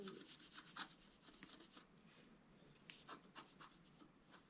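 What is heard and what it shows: A wooden stylus scratches fine strokes into a flat sheet of scratch-art paper, its black coating over a colored foil layer, held flat on a table. Quiet, dry, bright scratching comes in short, irregular strokes with almost no low end and no ring after each stroke.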